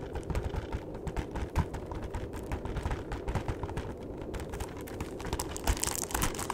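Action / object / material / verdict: tap / cardboard chocolate box / cardboard / none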